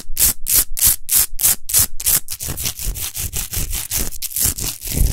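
Long nails scratch fast across a tall, rough-textured natural Himalayan rock salt lamp, unlit and made of solid salt. Quick bright, hissing scrape strokes repeat in a steady rhythm, first as clearly separated bursts, then running together into a denser, grittier rasp with a low rumble underneath.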